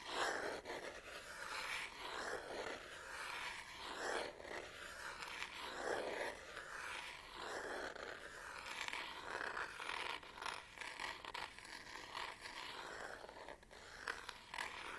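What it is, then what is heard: Plastic and rubber camera body. Long painted nails scratch across the back of a black Canon DSLR body, plastic with a textured rubber grip, held in one hand. The result is a steady, dry, rasping scrape, concentrated in the mid range with some bright edges and almost no low end. It comes in overlapping strokes and short flurries that continue throughout.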